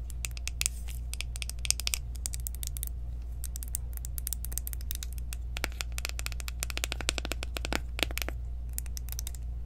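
Long nails rapidly tap and scratch along the ridged rim of a small, round, clear plastic jar of loose powder, which is open and full. Dense, sharp, bright clicks and scrapes come in quick bursts with very short decay, over a steady low hum.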